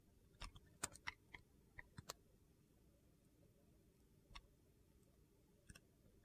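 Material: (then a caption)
Glycerin soap. A utility knife blade shaves thin translucent slices off a solid purple glycerin soap bar held in hand. Short, crisp, bright clicking scrapes come in a quick run in the first two seconds, then two more scrapes follow after a quiet pause.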